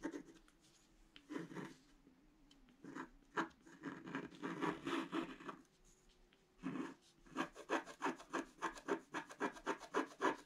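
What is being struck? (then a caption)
Scratch-art paper sheet scratched with a wooden stylus. A pointed wooden stick scratches a flat scratch-art page, black coating over colored paper, lying on a table. Scattered dry scrapes and longer rubbing strokes come first, then a steady run of short, quick, rhythmic scratches near the end, each a soft, raspy burst with a bright edge.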